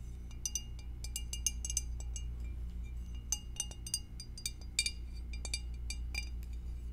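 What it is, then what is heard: Glass food container tapped with nails. Long acrylic nails tap the rim and sides of an empty, hollow, clear rectangular glass food storage dish with a divider, held tilted in the hands. The result is a quick, irregular series of bright, high-pitched clinks that die away almost instantly, over a steady low hum.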